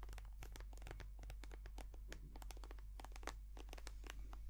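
Long painted nails tap and scratch on a small, white, soft plastic squeeze tube of hand cream, hollow and filled with cream. Quick, dry clicks and crinkly scratches follow one another in a dense, steady run over a constant low hum.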